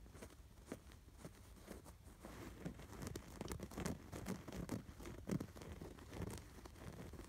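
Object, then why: Embroidered canvas throw pillow. Fingertips and short nails scratch over the raised embroidery stitches of a soft, stuffed cream canvas/cotton throw pillow with a red and white embroidered sweater design. The result is a quiet, dry, crinkly patter of short scratching strokes with a muffled low body, growing busier and slightly louder after the first couple of seconds.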